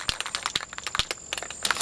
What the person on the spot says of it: You hear the rattling. Shake this for a minute to the ball. You hear the ball in there.